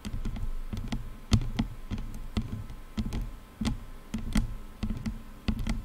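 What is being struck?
Plastic headphone headband.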